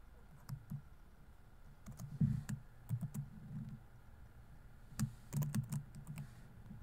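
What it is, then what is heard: Plastic laptop keyboard. Fingertips rapidly tap the plastic keys of a laptop keyboard on a grey laptop body while typing. Soft, low, muted clicks come in short bursts separated by brief pauses, with a faint steady hum underneath.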